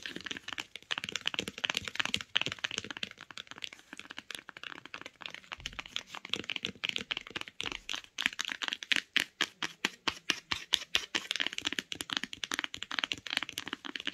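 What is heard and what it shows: Long nails tap and scratch along the spine of a beige cloth-bound hardcover book lying spine up. A dense, rapid stream of dry, crackly clicks and scrapes is heard, bright and high-pitched with almost no low end. Each tap dies away almost instantly.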